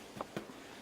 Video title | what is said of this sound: Cheese Scones | want to hear that hollow sound so now you know they're done